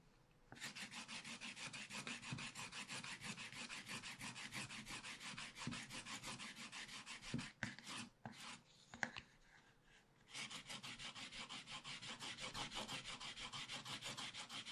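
A wooden stylus scratches the black wax coating off a spiral scratch-art paper pad held flat, working near the pots, with a hand rubbing at the end. Quick, steady, bright raspy strokes run for about seven seconds, pause for a few seconds with a couple of soft knocks, then resume at the same brisk rhythm.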